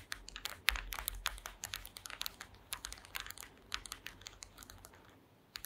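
Long green acrylic nails tap rapidly on the slats of a woven wooden slat mat. The result is a quick, irregular run of sharp, dry, bright clicks that stop instantly, over a faint low hum. The taps grow softer toward the end.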